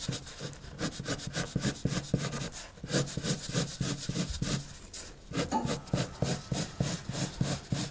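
The tip of a pink wood-cased colored pencil, held in the fingers, rubs across a blank white paper sheet lying flat on a wooden table in shading and drawing strokes. Quick, slightly uneven back-and-forth scratches carry a soft low body and bright papery hiss, with a brief lull just before the five-second mark before the strokes resume.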